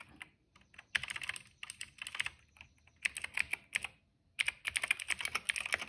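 Fingertips of both hands type on a retro-style cream plastic mechanical keyboard with black and purple keycaps. Bursts of sharp, bright, clicky keystrokes come in quick runs, broken by short pauses. Each clack is dry and dies away almost instantly.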